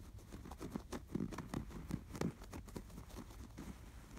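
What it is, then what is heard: Embroidered canvas pillow. Fingertips scratch and rub across the appliquéd sweater design on a stuffed, embroidered canvas pillow. The strokes are soft, dull, low scratchy rustles in a quick, uneven rhythm, each dying away at once with no ring.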